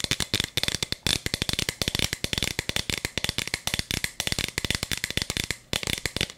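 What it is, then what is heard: Plastic bead-filled toy cup. Long nails rapidly tap and scratch the sides of a hollow plastic toy cup with a bead chamber, held in both hands in front of the mic. The result is a fast, dense stream of sharp, dry clicks and rattles that is mostly bright and high, with almost no ring after each tap. There is a brief pause near the end before the tapping resumes.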